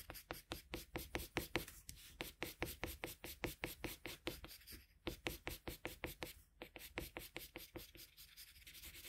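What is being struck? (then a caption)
Drawing paper shaded with a colored pencil. A colored pencil held in a metal extender shades a flat sheet of drawing paper with quick rubbing strokes. The result is a fast, uneven series of short, dry, bright scratchy swishes with a faint low body. Each stroke dies away almost at once.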